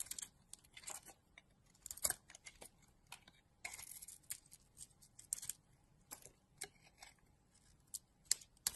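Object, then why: Bar of soap cut with a knife blade. A solid pink and blue bar of soap, held in a hand with long dark nails, is pared into thin curls with a utility knife blade. Quiet, bright scraping and cutting strokes come in an uneven run of short, dry bursts with almost no low end.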